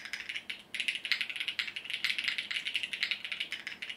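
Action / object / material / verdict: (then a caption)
tap / mechanical keyboard with plastic keycaps / plastic / none. Fingertips of both hands type continuously on a compact mechanical keyboard with multicolored plastic keycaps. Rapid, bright clicky key presses come in a steady stream with short, dry decays and almost no low end.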